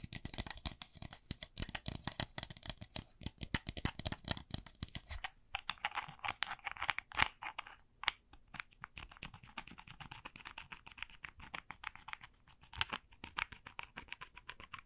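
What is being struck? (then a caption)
Small plastic cosmetic bottle with a cap. A small clear plastic cosmetic bottle with a black cap and a white-and-red paper label is held in both hands and tapped along its body with long dark-painted nails. Rapid, dense, bright clicking taps follow one another closely, with short dry decays. Softer, scratchier tapping takes over after about five seconds.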